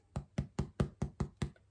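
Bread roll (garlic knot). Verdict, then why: Hollow. A golden-brown cheesy garlic knot, baked about 23 minutes in the oven, is picked up and knocked seven times in steady succession. Each knock is a short, dull, low thud with no ring, and the hollow sound shows the roll is baked through.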